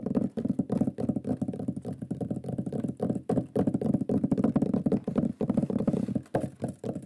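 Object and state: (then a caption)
Wooden board tapped with fingernails. Fingernails and fingertips tap quickly on the surface of a large, flat, solid wooden shield board with a lion pyrography, held in front of the face. The result is a dense, continuous patter of dull, woody knocks, low and hollow with a short decay and little brightness. The rhythm surges and eases with brief pauses.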